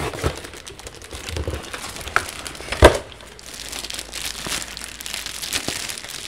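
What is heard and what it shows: A dense run of dry, papery crackles with no ring, plus a couple of sharper pops where the film snaps under the fingers. It is thin plastic wrap being squeezed against a rigid plaque, in a small quiet room.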